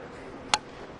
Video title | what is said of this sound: ATL AT PIT - May 23, 2010 | like balsa wood or something. Really, like it sounds hollow.